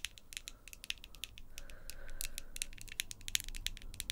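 Long, glossy pink acrylic nails tap and click rapidly against each other between two hands, giving about two dozen sharp, bright, dry clicks with no ring. A faint low rumble sits underneath.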